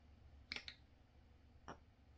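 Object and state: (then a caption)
Tight-fitting battery in a machined metal flashlight tube. A battery is dropped into the machined aluminum body of a Wurkkos TS30S Pro flashlight and slides slowly down onto the short brass post inside. A few light, bright metallic ticks are heard over quiet background hiss. The fit is very snug, with no rattle, because of tight machining tolerances.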